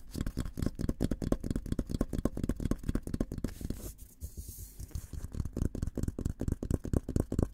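Fingertips tap and scratch the sides and rim of a hollow, olive-green painted steel military helmet. The result is a fast run of dull, low, short knocks that die away at once, with a brief softer stretch of scratching in the middle before the tapping picks up again.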